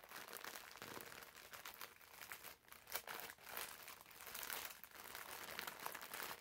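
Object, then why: Foam bath sponge in plastic film. Fingertips squeeze and rub the crinkly clear plastic film wrapped around a green foam bath sponge. The result is a continuous, bright crinkling and crackling with almost no low end, swelling and dipping briefly around the middle before carrying on to the end.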